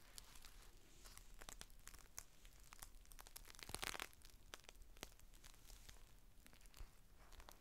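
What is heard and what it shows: A thin, clear plastic rain cover is unfolded as fingertips lift and peel its layers apart. Dense, sharp crinkles and snaps crackle across a bright, hissy range, over a low, steady rumble. The crackling swells to its loudest burst near the middle before settling back to lighter crinkling.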